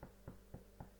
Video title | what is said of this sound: Bake along with JennyBake - loaf of bread | you should get a hollow sound and that's a good indicator that your bread is cooked